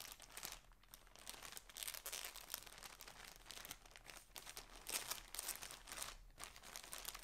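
Fingertips and nails crinkle, rub and handle the edges of a thin, flat, transparent plastic poly clothing bag holding a folded striped shirt on a table. The result is a continuous, bright, crackly crinkling with dense small crunches and brief rustling swells, mostly in the high range with little low end.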